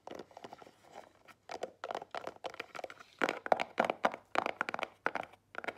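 Long nails tap and scratch the front of a small, square, black Marlù cardboard jewelry gift box that stands closed on a table. The result is a quick run of dry, crinkly clicks and scratchy bursts in the mid-range, each dying away almost instantly. The bursts grow slightly louder and denser toward the middle.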